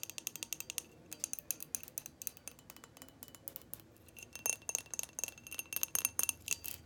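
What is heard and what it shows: Long painted fingernails tap and scratch a hollow, hand-sized frosted white glass light bulb with a metal screw base, held close. Rapid, bright, glassy clicks and ticks come in quick clusters, each dying away almost instantly, with a faint high ring and thin scratching between them.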